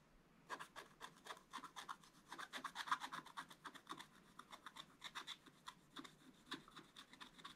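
A wooden stick scratches the black wax coating of a scratch-art paper page while one hand holds the spiral scratch-art book flat. Quiet, rapid, irregular strokes make dry, raspy scratches with a bright, papery edge and a mid tone around 1.25 kHz. Each stroke dies away almost at once.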